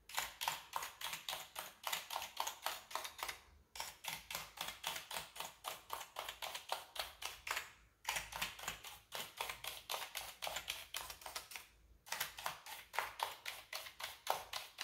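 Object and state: Plastic computer keyboard.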